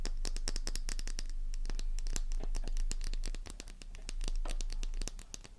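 A small, solid, flower-shaped pink bar of soap is held in the palm and scratched with long nails, the first shavings falling away. Quick, irregular, crisp scratches and taps run throughout, with bright, crackly transients over a steady low hum.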